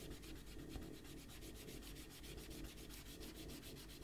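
A rubber eraser is rubbed back and forth across pencil shading on a stack of white printer paper on a table to erase it, while the other hand holds the paper steady. A quiet, continuous scratchy rubbing is heard, with rhythmic brushy strokes in the high range over a soft low rumble.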